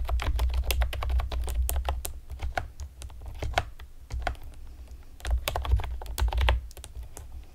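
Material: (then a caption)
Plastic. Long painted nails and fingertips tap rapidly on a pastel plastic typewriter-style computer keyboard with hollow, round retro keycaps. Quick, irregular clicky clacks pile into dense bursts over a steady low hum, thin out in the middle, then speed up again.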